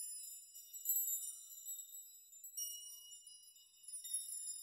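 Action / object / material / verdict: shake / hanging metal nails / metal / none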